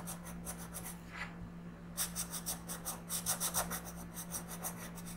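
A wooden colored pencil is rubbed in short coloring strokes across a thin paper coloring book page that lies flat on a table, held down by one hand. Each stroke makes a soft, bright scratchy rasp in a quick, uneven rhythm, over a faint steady low hum.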